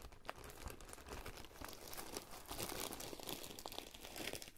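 A spoon is stirred and scraped through coarse salt in a clear glass bowl, with a hand partly visible at the rim. A steady, gritty crunching and crinkling runs throughout, made of many short, dense grainy scrapes with bright high hiss and some low rumble.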